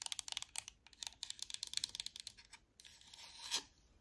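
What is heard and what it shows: Long manicured nails tap and click on the D-pad, buttons and front of a black plastic Xbox wireless controller's hollow handheld shell, held close. About nineteen sharp, bright, dry clicks come in quick bursts over the first two and a half seconds. They give way to a softer scratchy rubbing that swells into one louder swipe before fading.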